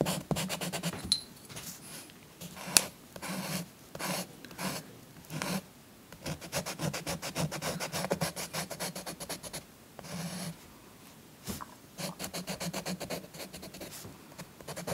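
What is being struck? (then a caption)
Chalk stick on a thin paper sheet over cloth. A chalk stick is rubbed and scratched in short strokes over a thin paper coloring book page resting on a soft cloth, while the other hand holds the sheet steady. Bursts of dry, gritty scratching with a bright, rasping edge come in quick stroke-by-stroke pulses, separated by brief pauses.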